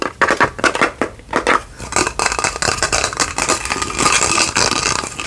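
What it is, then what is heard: Glass candle holder. A small hollow cut-glass candle holder with a diamond pattern and a lit candle or light inside is held in both hands and tapped and scratched with long fingernails. Quick, sharp clicks come first, then turn into a dense, bright scratching with a faint glassy tone near 1.5 kHz. Each tap dies away almost at once.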